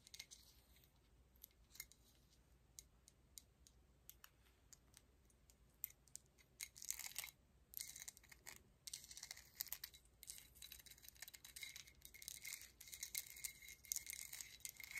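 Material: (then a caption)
Metal. Long acrylic nails tap and scratch a large, solid gold-tone metal coin medallion pendant with an embossed face, held in both hands, possibly with a slight jingle from bracelets and the chain. Quiet, bright, sharp clicking taps come first, then give way from about seven seconds to denser bursts of crisp, high scratching that continue to the end.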